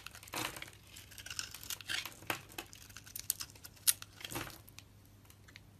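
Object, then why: Solid soap bar shaved with a metal blade. A solid soap bar with a red dotted coating and a pale green core is held in the hand and shaved with a large metal blade. Irregular crisp, bright scraping and crinkling strokes sound out as thin layers peel away, with a few sharper clicks among them.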